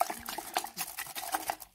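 A sealed clay tanjia pot, filled with meat, spices, oil and water and covered with foil, is shaken to mix the contents before going into the oven. The liquid inside sloshes in quick bursts, with short bright clacks and a midrange tone around 700 Hz. The shaking stops and it goes quiet near the end.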